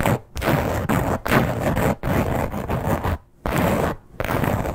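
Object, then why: Embossed leather clutch. Long nails scratch and rub across the surface of a flat red croc-embossed leather clutch, producing rough, textured scraping in several bursts separated by brief pauses.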